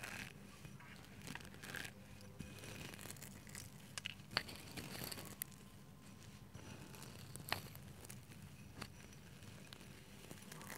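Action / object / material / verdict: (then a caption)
scrape / grated soap shreds / soap / none. Fingertips dig into a heap of white grated soap shreds in a green bowl, with a grater edge nearby, crunching and squeezing the flakes. Soft, crinkly crunching and rustling continues throughout, with occasional sharper, bright crackles over a quiet low background hum.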